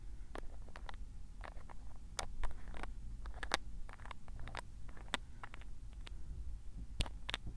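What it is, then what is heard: Glass ink bottle with plastic cap. Fingertips twist and tap the black plastic cap of a small square glass bottle of tsuki-yo ink. The result is a scattered series of short, bright clicks and ticks that die away quickly over a steady low rumble.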